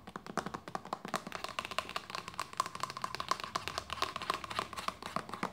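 Long nails and fingertips tap and scratch a hollow white plastic lotion bottle with a red cap, making a fast, steady run of short, dry clicks. Each tap carries a hollow tone around 1 kHz and dies away almost at once, with bright scratchy detail between the hits.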